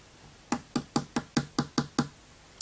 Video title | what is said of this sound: Sideshow Spiderman Noir 1/4 Premium Format | c'est tellement léger et ça sonne tellement creux